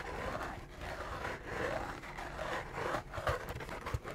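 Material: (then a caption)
Cardboard. Fingertips and nails tap and scratch the surface of a small, empty, hollow cardboard McDonald's McRib box held in both hands close to the mic. A steady, dry scraping rustle fills the clip, with soft low thumps from the hollow box and a few sharper taps toward the end.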